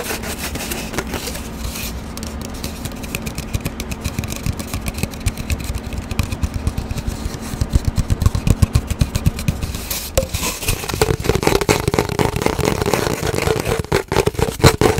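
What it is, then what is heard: Empty cardboard paper towel tube. Long fingernails scratch and tap quickly along an empty, hollow cardboard paper towel tube, first held at an angle and then horizontally. Dense, irregular clicks and scrapes run at about four per second over a low, hollow body tone. The taps grow louder and sharper in the second half.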